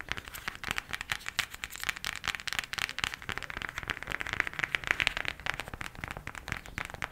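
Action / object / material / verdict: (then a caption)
tap / cardboard eyeshadow palette / cardboard / none. A cardboard eyeshadow palette is tapped quickly with the nails, producing a fast, steady stream of crisp, dry clicks. The taps sound bright and papery, centered around 2 kHz with little low end, and each one dies away almost instantly.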